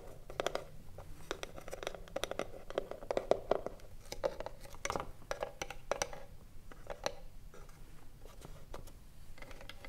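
Long nails scratch the front panel and tap the top edge of a hollow wooden cigarillo box standing upright. A rapid series of short, dry taps and scratchy strokes gives off a hollow midrange ring of around 600 Hz that dies almost instantly, over a faint low rumble.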